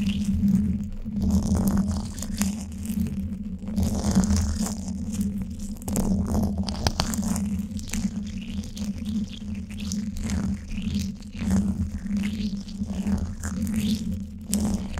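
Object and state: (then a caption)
Metal mesh microphone grille. Flat emery-board nail files held in both hands rub across the top of the woven steel mesh grille of a Blue Yeti microphone, a hollow dome. The result is a continuous close scratching and rasping over a steady low, boomy rumble, with bursts of brighter grit that swell and ease as the strokes vary in pace.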